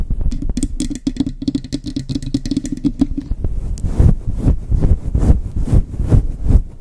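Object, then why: Faux fur microphone windscreen. Long chrome nails quickly scratch both sides of a soft, hand-sized, grey-white fluffy faux fur windscreen covering a microphone. The result is a dense, low, rumbling rush of rapid scratches that is quick and choppy in the first half, then turns into slower, louder, sweeping swishes.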